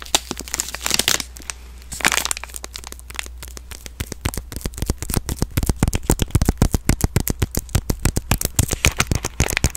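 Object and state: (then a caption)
Plastic-wrapped soap bar. A green soap bar in a plastic film package is crinkled and squeezed with fingertips and long nails close to the mic. Dense, irregular sharp crackles and snaps pile up over about ten seconds, with brief bright crinkling bursts near the start and a steady low hum underneath.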